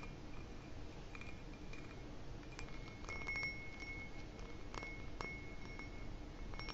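An empty, hollow, dark ribbed glass footed goblet is held up and tapped with fingertips and nails on its bowl and base. Soft, bright glassy clinks ring out with a short sustained tone around 2.2 kHz over a steady low rumble.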